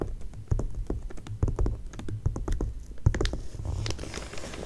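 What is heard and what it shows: Long nails tap rapidly on an open glossy paper magazine spread lying flat. The quick, light taps land as short, dry, low thumps in an irregular patter, with a soft papery rustle toward the end.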